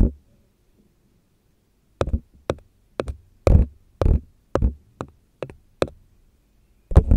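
A long red fingernail taps and knocks on the rim and side of a small, hollow, empty paper cup printed with a black and white zigzag pattern, held in the hand. A series of short, dry, hollow knocks come at an uneven pace, some in quick pairs, with a deep low thud and almost no ring.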